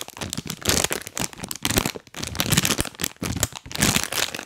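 A full printed plastic cookie bag is held close to the mic and crinkled and rubbed by fingers wearing rubber toy hands. The result is bright, dense crinkling that comes in loud bursts, with brief quiet gaps between them.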